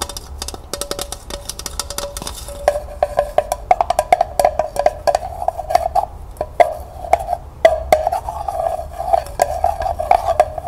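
Long nails rapidly tap the hollow sides of a small, empty, striped, glossy tin pail held horizontally. Dozens of quick, dry, clicky taps carry a hollow metallic ring of about 650 Hz that fades almost at once, growing steadier and more resonant after the first few seconds.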